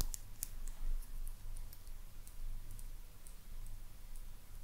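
Long purple nails tap and click on a small, hollow, white glazed ceramic maneki neko lucky cat figurine. The sound is a series of quiet, short, bright clicks that die away almost instantly, heard over a steady low hum.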